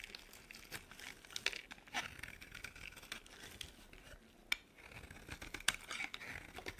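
A metal blade carves a solid, dry pink bar of soap, shaving off brittle flakes. The sound is a quiet, bright, crinkly scraping, with a few sharper crunchy snaps standing out as the flakes break away.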